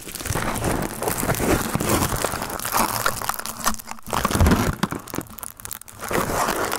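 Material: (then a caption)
Aluminium foil. A crumpled sheet of aluminium foil, wrapped around the top of a microphone and held in the hand, is squeezed and crinkled with the fingertips. The result is a dense, continuous crackling and crinkling with sharp crunchy snaps and a low rumbling body, easing briefly around the four- and six-second marks before building again.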